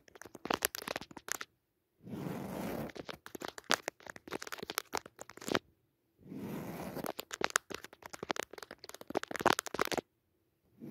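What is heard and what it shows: Long nails scratch and tap the weave of a soft, padded woven jacquard fabric cushion with a red leaf pattern. Quick bursts of dry, crackly taps alternate with two sustained stretches of rough, brushing scratches. Short silent pauses separate the bursts.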